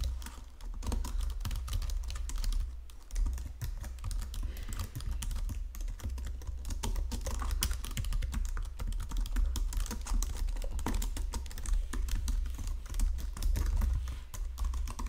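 Fingertips with painted nails type steadily across the low-profile keys of a full-size white and silver plastic Logitech keyboard resting on a marble desk. The result is a dense, continuous stream of quick, light plastic clicks and taps over a steady low hum.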